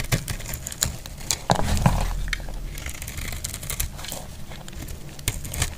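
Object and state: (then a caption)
Dry bar soap being shaved. A utility blade scrapes shavings off a solid purple bar of soap held in hand, making a dense, irregular run of dry crinkling and crackling scrapes with sharp bright ticks over a low rumble. A louder, fuller scrape swells around the middle before the scraping settles back to a steady patter.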